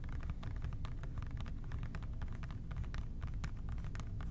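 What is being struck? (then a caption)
Plastic trigger spray bottle. An OxiClean plastic trigger spray bottle is tapped gently with the fingertips on its labelled body. Soft, quick tapping clicks run steadily over a constant deep, low rumble.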